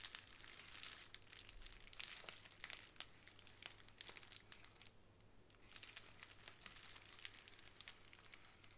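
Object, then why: Plastic bubble wrap sheet. A small square of clear plastic bubble wrap held in both hands as long nails scratch and squeeze the bubbles. The result is a soft, steady run of bright crinkling and crackling with many quick, sharp ticks and pops. A faint low hum sits underneath.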